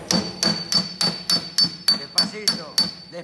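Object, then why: Sheet-steel car quarter panel. A steel planishing hammer with a wooden handle taps a thin, hollow, bare sheet-steel car quarter panel, with a hand dolly held behind it, while working to save the very thin panel. Ten sharp, evenly paced metallic taps are heard, each with a bright, high ring that fades within about a tenth of a second.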